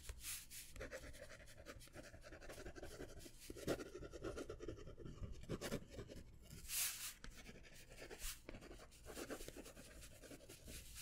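A plastic ballpoint pen scratches and writes on a small white paper notepad of thin stacked sheets held in the hand. Quiet, dry scratching strokes come in uneven bursts, with occasional brighter rasping swipes over a faint low rumble.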